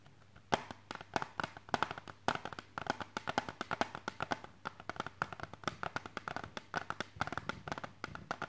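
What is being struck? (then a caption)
Plastic CD jewel case. Fingertips and nails tap quickly on the edges of a small, hollow, hard clear plastic CD jewel case held in both hands. The result is a rapid, uneven run of dozens of sharp, dry clicks with almost no ring, centred in the midrange around 840 Hz, over a faint steady low hum.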